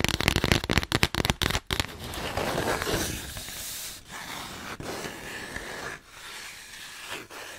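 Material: Cardboard.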